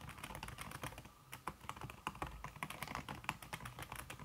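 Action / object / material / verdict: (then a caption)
tap / aluminum keyboard with silicone key cover / aluminum, silicone / none. Fingertips with red-painted nails type fast on a slim, backlit aluminum keyboard whose keys are covered by a red silicone skin. The result is a quick, steady stream of short, soft, slightly muffled key taps, each mixing a dull low thud with a light bright tick. The taps die away almost instantly.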